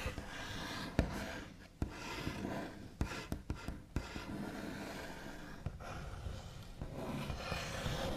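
The backs of fingernails scratch, tap and trace across the surface of a wooden table, making a soft, steady scratchy rustle weighted toward the low end. Eight sharp, quick taps stand out from the scratching, which sounds gentler than ordinary scratching.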